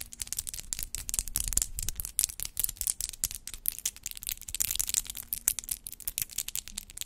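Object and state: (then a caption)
Acrylic nails tapping. Long acrylic nails with rhinestone clusters tap and click against each other, with the hands held above the microphone. A rapid, irregular stream of short, dry clicks, bright and crisp with almost no ring, fills the whole clip over a faint low hum.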